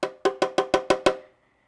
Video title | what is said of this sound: Adding DYNAMAT to my Miata & Fixing a Misfire | that sounds kind of hollow